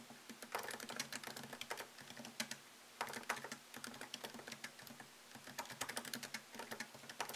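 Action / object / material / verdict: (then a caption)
tap / laptop keyboard, plastic keys in aluminium body / plastic, aluminium / none. Fingertips tap fast on a MacBook Pro keyboard, whose low-profile plastic keys are set in a thin, solid aluminum chassis. A quick run of light, bright clicks comes in bursts with brief pauses between them, each click short and dry with almost no low end.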